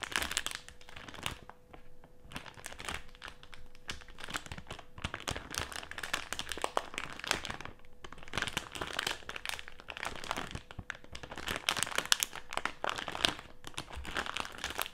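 Fingertips and nails press, scrunch and scratch a colorful printed plastic snack bag filled with jelly candies, lying flat on a white table. The result is dense, bright crinkling and crackling in continuous bursts, with brief lulls near 2 and 8 seconds. A faint steady low tone runs underneath.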